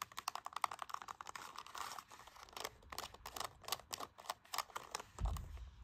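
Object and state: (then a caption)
Plastic TV remote. Fingertips and nails tap and click the rubber buttons of a hollow black plastic LG remote control lying on carpet. The result is a rapid, uneven run of short, dry clicks with a bright edge and a hollow tone around 1.2 kHz. A duller, low thump lands near the end.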